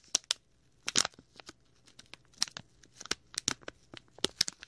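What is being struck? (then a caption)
Thin clear plastic bag. A small, clear, hollow plastic packet with a red and white printed label is held beside a binaural microphone and crinkled and rubbed between fingertips. A quick series of sharp, bright crackles and crinkles comes in irregular bursts, with almost no low end and short pauses between them.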